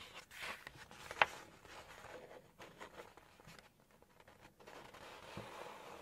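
Long nails tap and scratch a glossy paper page of an open cookbook at its Poultry section while lifting the page. Soft, bright rustling and scraping fill the clip, with one sharp, short tap standing out early on. The sound stays quiet throughout with very little low end.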